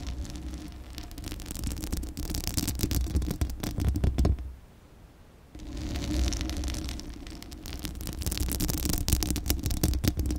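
A hollow metal mesh microphone grille is scratched with long acrylic nail tips, giving dense, rapid scratchy noise with a strong low rumble and bright crackle. The scratching pauses for about a second midway, leaving only a faint hiss, then resumes just as dense until the end.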